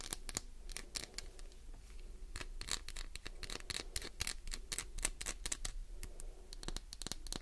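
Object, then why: Glycerin soap bar. Long acrylic nails scratch and tap the embossed surface of a solid, translucent, palm-sized green glycerin soap bar held in one hand. Quick, sharp, bright clicks and scratchy strokes follow one another closely over a low, steady background hum.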